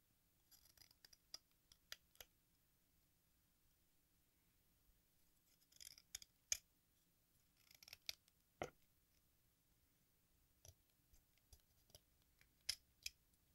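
A metal craft knife shaves red chalk dust off the face of a solid watermelon-slice sidewalk chalk held in the hand, letting it fall into a pink bowl. Quiet, bright, dry scraping strokes and sharp short ticks come in scattered bursts separated by near silence.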